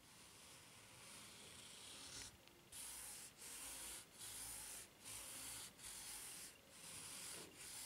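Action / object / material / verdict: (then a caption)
scrape / ridged rubber flip-flop sole / rubber / none. Fingertips and nails rub across the serrated underside of a white ridged rubber flip-flop sole, producing a bright, hissy scratching. A steady rub for about two seconds gives way to a series of separate scraping strokes with brief pauses between them.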